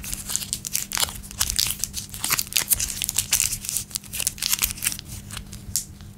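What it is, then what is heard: Plastic candy wrapper. A small blue raspberry Laffy Taffy wrapper made of plastic film, with the taffy still inside, is held between the fingertips and thumbs of both hands and crinkled and twisted as it is torn open over a wooden table. A rapid run of sharp, bright crackles and crinkles fills the clip, with a faint steady low hum beneath.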